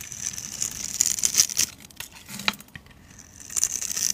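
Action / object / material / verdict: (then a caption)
scrape / glycerin soap bar scraped with a knife blade / glycerin soap / none. A utility knife blade scrapes across a hand-held, solid, translucent orange glycerin soap bar with a grid-scored surface, cutting off cubed pieces and shavings. The sound is a bright, crisp scratching and crackling with sharp little clicks, with almost no low end. It eases off in the middle and picks up again toward the end.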